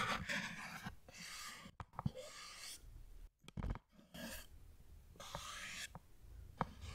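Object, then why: Small cardboard box. A small, hollow printed cardboard product box is held upright near the microphone and tapped and scratched with the fingernails. Soft bursts of papery scratching alternate with sharp, dry taps that die away almost instantly.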